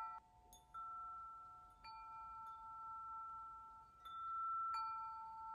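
Fingertips tap a metal tube wind chime, its long hollow patterned tubes hanging from a hanger and ringing against each other. Four clear strikes bring out sustained bell-like tones centred near 890 Hz with bright high overtones, each ringing on and overlapping the next.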